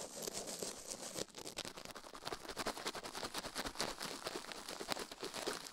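A plastic toothbrush is brushed and scratched quickly over the silicone ear of a binaural microphone. It makes a dense, continuous run of bright, bristly scrapes and rapid crackling strokes with almost no low end. Each stroke stops dead with no ring.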